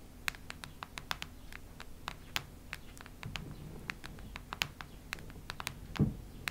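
Long red nails scratch and tap a solid cactus-print hardcover notebook lying flat on a wooden table. A rapid, irregular series of sharp, bright clicks with very short decay sits over a low, soft rumble, with a rougher scratching stretch in the middle and a heavier, duller tap near the end.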